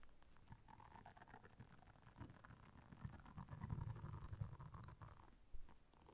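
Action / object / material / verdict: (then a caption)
scrape / silicone bristle scrubber pad / silicone / none. Long nails scratch across the bristles of a blue silicone bristle scrubber pad. The result is a quiet, dense, low rumbling scrape with soft crackly texture that swells louder in the middle, then fades with one brief sharper bump near the end.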